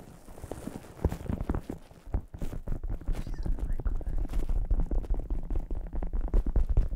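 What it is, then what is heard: Metallic fabric ball. A medium rainbow ball covered in shiny, lamé-like metallic fabric panels, probably stuffed or inflated, is held in both hands and tapped and scratched with long painted nails. The result is a quiet stream of soft, dull, low-pitched thumps with faint scratchy rustling, in an irregular, rapid patter that grows busier after the first couple of seconds.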